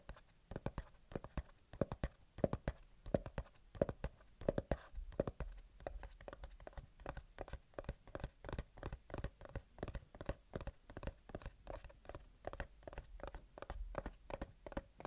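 A small, closed, white cardboard earbuds box is held steady while the fingertips and short nails of the other hand scratch and tap its top face. The result is a quiet, fast, even run of dry, papery taps with a hollow tone around 580 Hz and a soft low thump, each dying away almost instantly.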